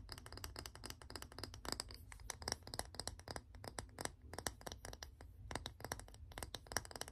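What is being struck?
Small round wooden container.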